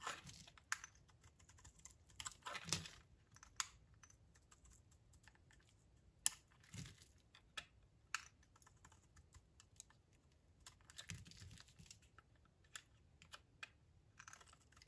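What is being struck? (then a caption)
Bar of soap shaved with a knife blade. A utility knife blade shaves thin curls off a solid, dry, oval lilac Johnson's soap bar held in the hand. The sound is a quiet run of crisp, bright scrapes and crackling flakes, some as short sharp ticks and some as longer rasping strokes, with brief pauses between cuts.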